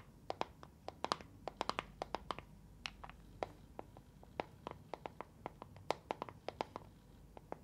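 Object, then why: Small plastic box filled with gel beads. A small neon-green translucent plastic box filled with round gel water beads is held in both hands, shaken and tapped with long painted nails. About 34 quick, sharp, bright clicks and ticks sound at an uneven pace, each dying away almost instantly over a soft, low background hiss.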